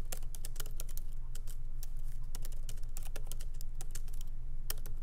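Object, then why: Laptop keyboard with plastic keycaps. Fingertips of both hands lightly type on a MacBook Pro laptop keyboard with black plastic keycaps in an aluminum body, resting on a wooden desk. Quick, irregular, bright key clicks patter over a steady low hum.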